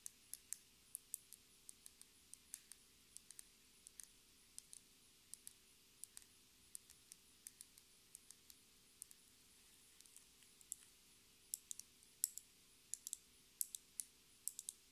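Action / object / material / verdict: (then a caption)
tap / small plastic lip gloss tube with a metal cap / plastic / none. A small, clear plastic lip gloss tube filled with pink gloss and topped with a metallic cap is tapped with long red nails. About 50 quiet, sharp, bright clicks come in an uneven rhythm, each dying away almost instantly. A faint steady hum sits underneath throughout.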